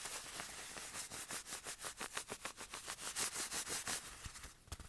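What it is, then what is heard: Fabric watch cushion. A small padded black fabric watch cushion, held in the hand, is tapped with the fingertips. The result is a quiet, steady stream of soft, fast, slightly uneven taps, each with a bright, airy fabric hiss, very little low end, and almost no ring.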